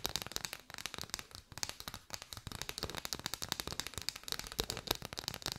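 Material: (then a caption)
Paper. Long white fingernails tap and scratch on a bundle of hollow striped paper straws, producing a rapid, uneven stream of crisp, dry clicks. The sound is bright and papery with little low end, and each tap dies away almost instantly.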